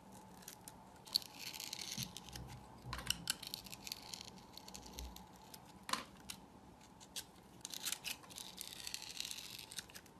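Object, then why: Bar of soap. A utility knife blade scrapes the textured crust off a hand-held solid purple soap bar in strips, making quiet, bright, scratchy rasps. The scrapes come in uneven bursts, with a few sharper clicks where the blade catches, over a soft low rumble.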